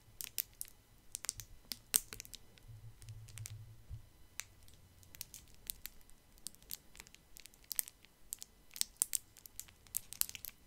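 A small solid chocolate wrapped in brown and white printed foil with twisted ends is held near the microphone and crinkled and scratched by fingertips. Quiet, bright, sharp crackles and ticks come in a slow, irregular series over faint background noise, with a low hum in the first few seconds.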